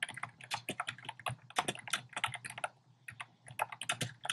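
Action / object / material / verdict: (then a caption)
tap / mechanical keyboard with plastic case and plastic keycaps / plastic / none. Fingertips type quickly on a compact plastic mechanical keyboard with a black plastic case and round pastel plastic keycaps. A fast, uneven run of short, bright clicks and clacks plays over a faint low hum, with a brief lull near the three-second mark before the typing resumes.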